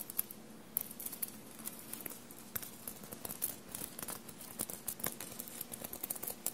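Short blue-painted nails quickly scratch a dark blue soft fabric shirt bunched on a table and covered in small silver paillette studs. The result is a quiet, steady, scratchy rustle with bright, crisp little clicks and ticks as the nails catch on the studs.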